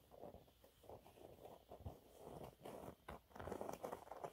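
Fingernails scratch a thin, flat, yellow textured cellulose sponge cloth, making soft, dry, papery rasps in short uneven bursts. The sound sits mostly in the low-mid range with little bright content, and each stroke dies away almost at once.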